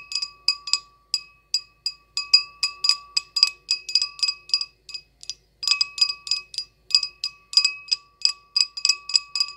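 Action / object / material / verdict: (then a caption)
tap / small glass goblet / glass / none. An empty small clear glass goblet with a short stem and hollow body is tapped with long acrylic nails in a quick, uneven run of about three dozen light clicks, with a brief pause a little past five seconds. Each tap gives a bright glassy ping with steady tones near 1.1 kHz, 2.6 kHz and higher up, fading within a fraction of a second and carrying no low end.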